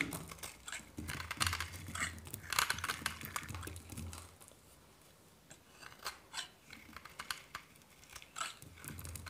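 A hand-held solid white dry soap bar is scraped and shaved with a metal knife blade, with flakes falling. Dry, bright scratching and crumbly crackles come in dense bursts, louder in the first half and then sparser and softer.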